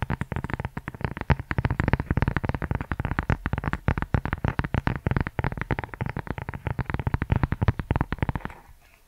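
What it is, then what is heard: Leather-covered notebook. Fingertips and nails tap and scratch the leather cover of a brown leather journal held upright. The result is a fast, dense run of short, dull, low-heavy taps with a soft rough scratching texture, fading out in the last half second.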